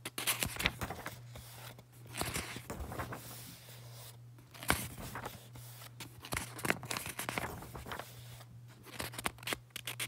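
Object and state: Paperback book pages being flipped.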